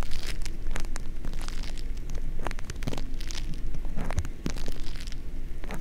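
A small lump of green crunchy foam-bead slime (floam), soft and solid, is kneaded and squished with the fingers right beside the microphone. It makes a dense run of bead-popping crackles and sticky squelches over a deep, low rumble. The sound stays close and steady throughout.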